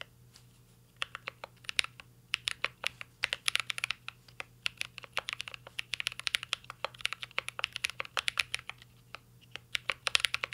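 A mint-green Cyberboard R3 mechanical keyboard with a metal case and plastic keycaps is typed on continuously with the fingertips. After a brief quiet start, a steady stream of sharp, bright, dry key taps follows, with uneven rhythm and occasional quick bursts, over a faint low steady hum.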